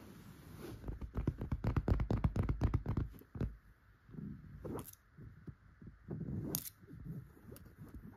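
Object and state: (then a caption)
Fabric upholstered couch. Long gold metal claw nail covers tap and scratch the surface of a grey fabric upholstered couch cushion. Quick, muffled, low taps come in a fast run for the first few seconds. They give way to softer, rasping scratches with a few brighter clicks.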